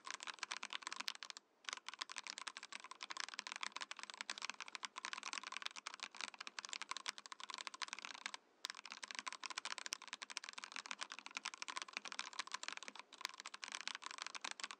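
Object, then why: Mechanical keyboard, acrylic case, plastic keycaps. A compact 68-key Mojo68 mechanical keyboard in a transparent acrylic case with cream and orange plastic keycaps is typed on with the fingertips of both hands, while a separate Mojopad numpad beside it goes untouched. Rapid, dense, bright clicky keystrokes with very short, dry decays run steadily throughout, broken only by brief pauses near 1.5 and 8.5 seconds.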